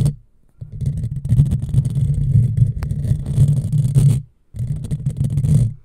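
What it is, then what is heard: Metal mesh microphone grille being scratched. Long fingernails scratch a hollow black metal mesh microphone grille, with some hand movement above it. The sound is a dense, low, rumbling scrape centered around 140 Hz, with faint bright hiss. It runs in two long stretches, after a short quiet start and a brief pause near the end.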